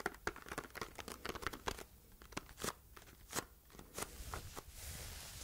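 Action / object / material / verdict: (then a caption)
tap / small printed cardboard box / cardboard / none. Long red nails tap and scratch the surface of a small red printed cardboard box held in both hands. The result is a quick, irregular run of dry, papery clicks and crinkly scratches. It ends in a softer, steady brushing hiss.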